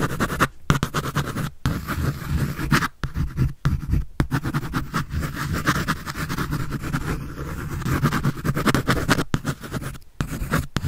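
A pencil scribbles and shades across a large paper sheet on a sketch pad that is held up. The result is a steady run of dry, scratchy strokes with a dull, low-heavy rasp, broken by a few brief pauses between passes.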